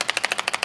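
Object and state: Rattling mascara tube being shaken.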